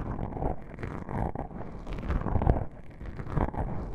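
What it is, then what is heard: Foam microphone windscreen being scratched. Long pink-painted nails scratch and rub two small black foam windscreen covers on a binaural microphone. The soft, porous foam gives a continuous, muffled low rumble of close scratching and brushing with almost no bright content.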